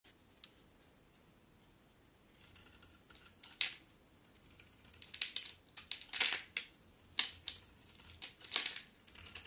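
A utility knife blade shaves and carves flakes off a solid bar of white soap with a dark coated surface, held in the hand. Quiet, irregular scraping and crisp crinkly cuts rise in bursts, mostly high and bright with little low end. The strokes grow louder and denser in the second half.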